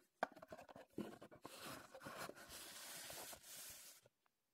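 Fingertips and nails tap and scratch a small, empty, reassembled printed Heddon cardboard lure box held in the hands. A run of quick, dry taps opens the clip, followed by a steady, bright, papery scratching that rises and falls in waves. It stops just after four seconds with one faint final tick.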